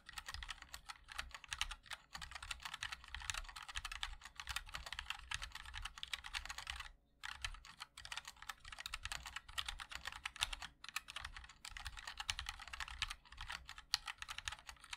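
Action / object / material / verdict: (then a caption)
tap / mechanical keyboard with plastic keycaps in an aluminium case / ABS plastic / none. Fingertips of both hands type continuously on a MOD-L Linear 60% mechanical keyboard with a black aluminum case and white and black ABS keycaps. Dense, bright, crisp key clacks run in rapid bursts over a soft low thump, with a brief pause around the seven-second mark.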